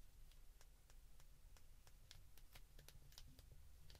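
Fingertips press the keypad buttons of a white plastic flip phone held in the hands, over and over. Each press gives a short, bright plastic click above a steady low hum, with some clicks landing close together.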